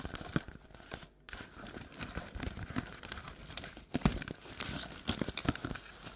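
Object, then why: Paperboard treat bucket. Long black nails tap and scratch the printed wall of an empty, hollow paperboard Halloween treat bucket tilted on its side with its open rim showing. Quick hollow taps mix with dry, crinkly scratching, broken by a brief near-silent pause about a second in, with a low, papery body and bright scratchy edges.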